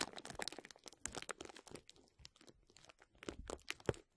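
Crumpled clear plastic bubble wrap held over a microphone is squeezed and scratched by the fingertips of both hands. Dense, crackling crinkles and sharp little pops fill the clip, bright and close, with brief quieter gaps between bursts.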